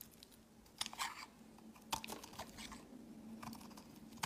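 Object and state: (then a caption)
Soap bar being carved. A metal utility blade carves and shaves curls off a solid, peach-colored rectangular soap bar with embossed lettering, held in the hand. Crisp, bright scraping crunches come in short bursts, the sharpest snapping out at intervals. A faint steady low hum runs underneath.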